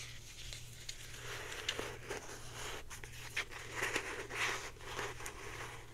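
Long painted nails scratch and tap a blue plastic Secret deodorant stick, a hand-sized hollow stick with a cap, held in the hands. Soft, bright crinkly scratching runs throughout, broken by sharp, short clicky taps at irregular intervals over a steady low hum.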